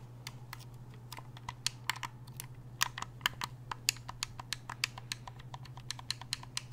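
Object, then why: Hard-plastic game controller. Fingers click the buttons of a hollow black hard-plastic gamepad and tap its shell with their nails, making about 23 quick, dry clicks and taps at an irregular pace. Each tap is sharp and bright with almost no ring, over a steady low hum.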